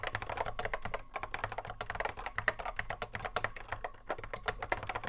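Fingertips of both hands touch-type continuously on a cream Apple M0110A keyboard with a hollow plastic case and Alps SKCC mechanical switches, resting on a wooden desk. A rapid, uneven stream of short, dry clacks centers around 1.8 kHz with brief bright edges and almost no ring, over a steady low hum.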